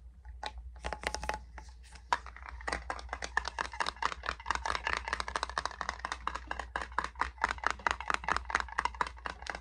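A small metal hand salve tin is tapped rapidly and continuously with quick, dry, clicky taps that ring around 940 Hz with bright edges and die away almost instantly. A steady low hum runs underneath throughout.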